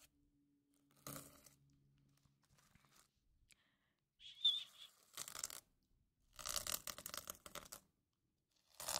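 A hand-sized notebook with a sparkly cover of reversible plastic sequins is scratched and rubbed with fingertips and nails, flipping the sequins. Quiet, bright, crinkly scratching bursts come in separate bouts, including a short high ping near 3.6 kHz, with silences between them.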